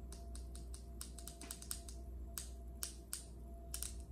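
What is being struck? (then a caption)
Granite countertop tapped with acrylic fingernails. The tips of long acrylic nails on both hands tap a large, solid, polished speckled granite countertop. They make quick, sharp, bright clicks in an uneven rhythm, each dying away almost at once over a steady low hum.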